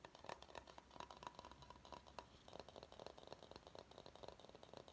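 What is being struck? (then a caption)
Bamboo salad bowl. Fingernails tap quickly on the base of a medium, hollow, empty bamboo salad bowl held upside down, producing a rapid stream of short, dry, clicky taps with almost no ring. A faint steady tone around 1 kHz runs beneath the first half, and the taps carry a light, bright rattle.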